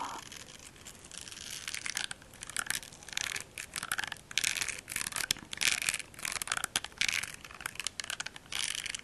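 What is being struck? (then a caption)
Silicone facial cleansing brush. A small, solid pink silicone facial cleansing brush, held close to the mic, is scratched and tapped with fingertips and short nails across its textured silicone surface. The result is a run of bright, crackly, crunching bursts with almost no low end, rising and falling in quick clusters over steady soft hiss.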